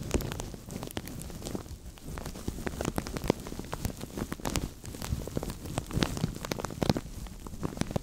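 Fingertips and nails scratch and tap a translucent thin plastic bag stretched over a microphone, making a dense, continuous crackle. Sharp, bright clicks and taps pop out of a steady rustle with a heavy low rumble underneath, much like rain pattering or a fire crackling.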